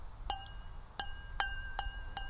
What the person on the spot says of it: you can hear it doesn't resonate at all as well. And it's a different sound, different frequency